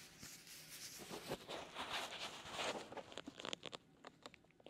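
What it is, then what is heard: Leather glove rubbing a silicone ear. A gloved fist in a black perforated leather glove kneads and rubs a white silicone ear on a binaural microphone. Close, continuous bright crinkling and rubbing fills the first three seconds, then breaks into sparser, short scratchy squeaks and taps.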